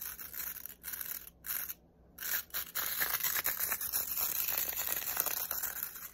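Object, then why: Plastic round hairbrush with nylon bristles. Fingertips and nails scratch and flick fast across the dense nylon bristles of a black plastic round hairbrush held upright. The result is a bright, crisp, rapid scratching and rustling with almost no low end, broken by a couple of brief silent gaps early on before continuing steadily.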